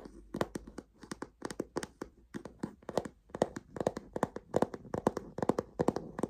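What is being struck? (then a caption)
Leather bottom panel of a fabric tote bag. Fingernails and fingertips tap and scratch along the stiff, smooth tan leather bottom panel of a medium-size, hollow, soft-sided check-pattern fabric tote bag. A quick, uneven series of dry, short clicking taps with a mid-pitched knock dies away at once, with soft scratching between them.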